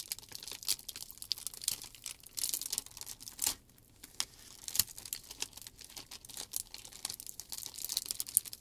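A large, thin, clear plastic shrink wrap sheet is unfolded and smoothed with both hands while fingers crinkle and rub the film. It gives dense, bright crackling and rustling with frequent sharp snaps and almost no low end. Brief quieter stretches of soft rubbing fall between the louder crinkles.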